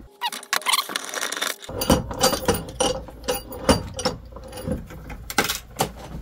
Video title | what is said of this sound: 1HD-FTE intake heater delete for the Land Cruiser | that crunchy noise that sounds like ceramic to me